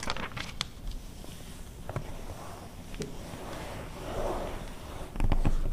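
Long red fingernails on both hands scratch across the text pages of an open glossy paper car magazine from 2009, giving soft dry scraping with a few sharp clicks. Near the end a page is turned, making a louder papery rustle.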